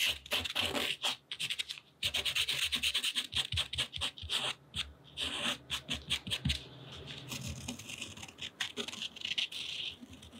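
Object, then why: Thick cotton rag paper scratched by a pen tip. A purple acrylic paint pen tip is drawn across thick, textured cotton rag paper painted in gouache and lying flat on a table, scratching and rubbing the rough surface. Close, dry scratchy strokes come in rapid bursts with short pauses, bright and hissy with little low end.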